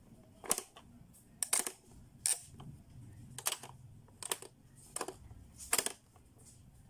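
Fingertips press the button and turn the dial on a blue, hollow, hard-plastic Playskool pop-up learning toy, making its lids snap open. A series of sharp, bright plastic clicks and snaps comes in quick pairs, each dying away almost instantly over a quiet background.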